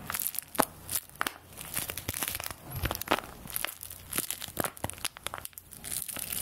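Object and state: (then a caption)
Paper play money. A small folded paper play-money bill is held in both hands, crinkled and scratched with long nails. The result is a dense run of crisp, dry crackles and rustles with bright, papery high end and no ringing.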